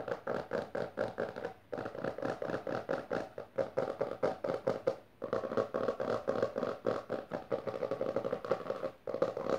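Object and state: Hardcover book tapped and scratched with fingernails.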